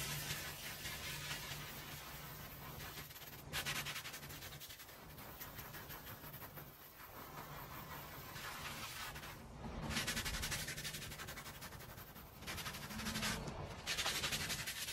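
A small oval maroon woven rug soaked with soapy water is scrubbed in circles with a green handheld plastic bristle brush. A continuous wet, bright, scratchy rasp of bristles on fabric rises into louder swells near the four, ten and thirteen-second marks, with a faint steady low hum underneath.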